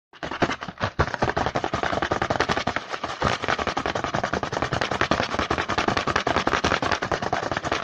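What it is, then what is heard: Cardboard snack box. A small, hollow printed cardboard snack box (Hanuta Riegel 5x), likely full and held in the hand, is tapped and scratched rapidly across its front with the fingertips. The sound is a dense, irregular stream of dry, papery taps mixed with scratchy rustling, bright and broadband with little low end. It starts after a brief silence and continues steadily to the end.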